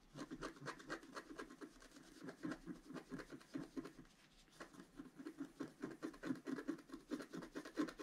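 A wooden stylus scratches the coating of a flat black-coated scratch-art board, working on the central orange flower. Quick, irregular, dry scraping strokes repeat throughout, with a brief quieter pause near the middle.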